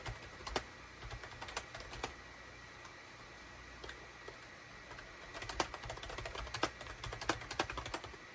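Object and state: Plastic computer keyboard being typed on.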